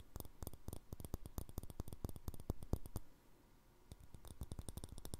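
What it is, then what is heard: Glass jar with plastic lid. A small, empty, clear glass jar with a green plastic lid is rapidly tapped and scratched with fingernails. Quick, dry clicks come in an irregular stream, pause for nearly a second, then resume.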